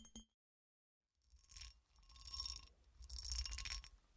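A solid, hand-sized clear cut glass horseshoe with a ridged texture, held upright in both hands, is tapped and scratched with long acrylic nails. Two quick, bright clicking taps open the clip, followed by about a second of silence. Then come three swelling bursts of high, gritty scratching over the ridges, with a soft low rumble underneath.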